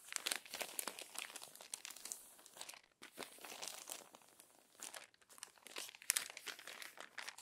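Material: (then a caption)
Paper. Hands flatten and turn the crumpled pages of an open glossy paper magazine, making dense, bright crinkling and crackling with quick papery snaps. The sound comes in bursts with brief quiet gaps and has almost no low end.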